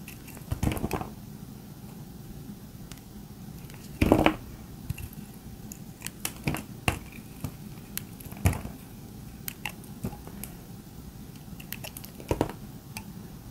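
A utility-knife blade scrapes and carves the curved surface of a solid pink dry soap bar held in both hands, producing crunchy flakes. Short, dry, crackling scrapes come in scattered bursts, with a few louder crunches standing out over a quiet low hiss.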